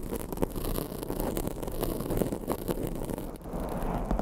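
Long acrylic nails scratch across a black foam microphone windscreen. The result is a steady, muffled, bass-heavy rustling rumble with brief soft clicks and faint high crackle scattered throughout.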